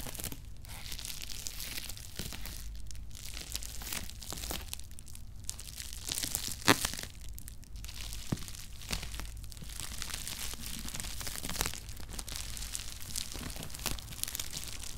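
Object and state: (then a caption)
Bubble-wrapped cardboard box. Fingertips and short nails tap and scratch the top of a hollow cardboard Nike shoebox with shoes inside, tightly wrapped in pink and clear plastic bubble wrap and resting on a cork mat. Dense crinkling and crunching rustles run throughout, with a low rumble underneath and bright plastic scratching. A few sharper crackles stand out, the loudest near the middle.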